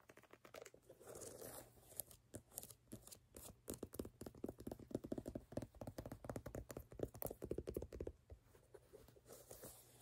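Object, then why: Rubber sneaker outsole. Fingernails scratch and tap the bottom of a platform sneaker, across its brown ridged rubber sole and pale rubber heel section. Quiet, rapid, dry clicks and scrapes come in uneven bursts with a dull, muffled midrange tone. Each tap stops short with no ring.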